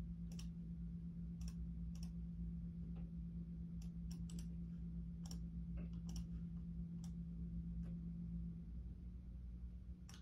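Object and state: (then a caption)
Plastic computer keyboard. Fingertips type and press keys near the arrow block of a full-size black plastic Logitech keyboard with hollow keys, giving sparse, irregular, bright clicks. The clicks sit over a steady low hum, and a tonal band in the hum drops out near the end.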